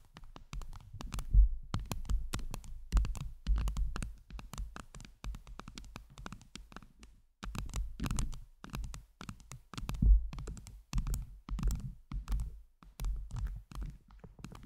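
Long jeweled acrylic nails on both hands tap and scratch a hand-sized round microphone head covered in blue and teal acrylic heart-shaped gems. The result is a dense run of soft, thumping taps and rustling scratches, mostly deep and muffled, with quick faint clicky edges. There is a brief pause partway through.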